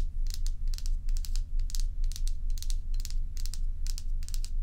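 Long pointed nails scratch and tap the frosted surface of a large, solid, dome-shaped ice block held tilted in the hands. Quick clusters of bright, crisp scratching and tapping bursts repeat steadily over a constant low hum.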